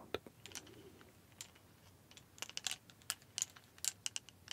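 Several thin, solid white plastic clothes hangers are held in both hands and knocked and clacked against each other. Sharp, bright clacks come in irregular bursts, denser toward the end, each dying away almost instantly over a faint low murmur.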